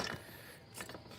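An old metal idler pulley with its bearing, removed from the accessory drive of a 2007-2012 Cadillac Escalade with the GMC 6.2 L engine, is spun and shaken back and forth by hand. It gives a dry, ratcheting, gritty rattle with two louder bursts as it keeps spinning freely. The worn bearing marks it as a bad pulley, and both pulleys were replaced.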